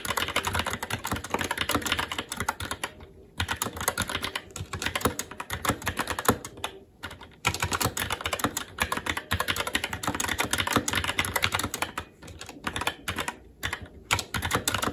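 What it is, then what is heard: Mechanical keyboard with plastic keycaps. Continuous fast typing with the fingertips of both hands on a SteelSeries Apex 7 TKL mechanical keyboard, with plastic keycaps on a metal top plate and Red linear switches. It produces a dense stream of short, crisp clacks with a low thock underneath. Brief pauses break the stream near 3 and 7 seconds and again around 12 to 14 seconds.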